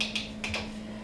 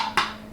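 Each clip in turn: First: Four quick, bright ticks on jar lids, tight and high rather than thudding, so the seals are holding. Second: A single short, dull tap on a plastic jar lid; it thuds hollow instead of clicking, so the seal is broken.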